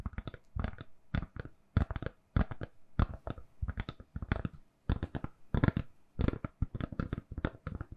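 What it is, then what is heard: Silicone phone case. Long nails tap and scratch a hand-sized, solid, lilac silicone-covered phone case on a phone while it is tilted. Quick clusters of soft, dull taps come in an uneven rhythm, each with a short scratchy brightness and almost no ring. The overall sound is quiet and close.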